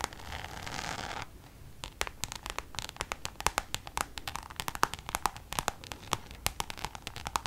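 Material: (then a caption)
Coated canvas. A checkered Louis Vuitton coated-canvas pouch, held upright, is scratched and tapped with long nails. A steady, bright scratching hiss lasts about a second, then gives way to quick, sharp, dry clicks and taps that die away almost instantly, with light rustling between them.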